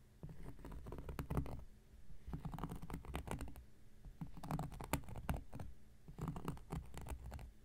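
A round, flat, solid cork coaster is scratched and scraped with an X-Acto knife blade in four separate bursts. It makes dry, rasping scrapes with sharp little clicks from the blade. The sound is mostly a low, dull rumble with very little bright edge.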